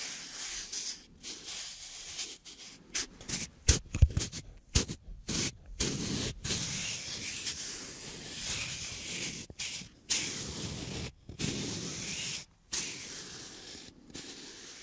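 A thin, flat, light plywood plate engraved "SensorAdi ASMR" is held in both hands while its surface is scratched and rubbed with fingertips and nails. The result is a dry, bright, hissy scratching in irregular bursts separated by brief silences, with a few sharper, louder scrapes around the fourth and fifth seconds.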